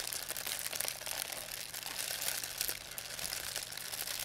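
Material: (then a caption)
Plastic. A thin white plastic pharmacy bag with red and blue print, crumpled into a ball, is crinkled and squeezed in both hands by fingers with long painted nails. The result is a steady, dense, bright crackling and rustling with almost no low end, carrying on without pause for the whole clip.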